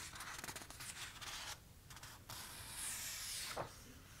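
Fingertips with short nails trace and rub over the handwritten, uncoated paper pages of an open notebook with a pink hardcover, with some page turning. The sound is a soft, dry, bright brushing and scratching that briefly quiets midway. A short papery swish near the end marks a page being turned.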